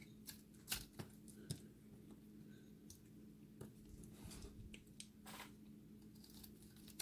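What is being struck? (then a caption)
Recycled soap ball. A cut-open, solid, dry recycled soap ball is held in the hand and scraped with a utility blade so that it crumbles. Irregular crisp, bright scraping and crackling bursts stand out over a steady low hum, with a few sharper spikes.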